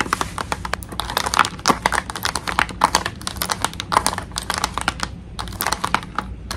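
Long nails tap rapidly on a clear plastic blister pack holding a pink toy tea set, backed by cardboard. The result is a dense run of crisp, bright clicks with a hollow plastic tick and almost no ring, over a faint low hum.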